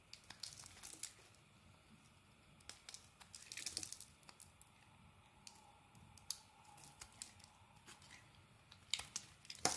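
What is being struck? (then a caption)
Soap bar scraped with a metal knife blade. A metal knife blade scrapes across the face of a solid dark green bar of soap. The result is a quiet series of bright, dry scratching and crinkling sounds in irregular bursts, with short louder strokes and very little low end.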